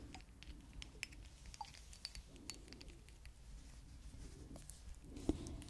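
Long acrylic nails tap and scratch the surface of a small, apparently full glass perfume bottle with a teddy-bear-shaped cap, held in hand. Quiet, scattered bright clicks and short ticks sit over a soft scratchy rustle and a steady low hum, with one slightly louder tap near the end.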